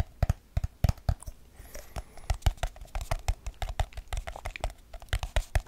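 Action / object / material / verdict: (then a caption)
tap / small aluminium tin with lid / aluminium / none. A small, hollow, round silver aluminium tin with its lid on is held up in both hands and tapped fast with fingertips and nails on the lid and rim. The result is a rapid, uneven stream of short, dry taps with deep, hollow thumps and bright clicky edges, each dying away almost instantly.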